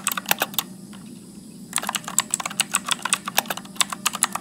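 Fingertips type continuously on a backlit Motospeed mechanical keyboard with blue switches and plastic keycaps, producing a rapid run of sharp, bright clicks that break off for about a second before resuming at a steady pace. A faint low hum sits underneath throughout.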